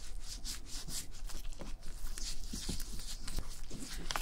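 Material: Leather.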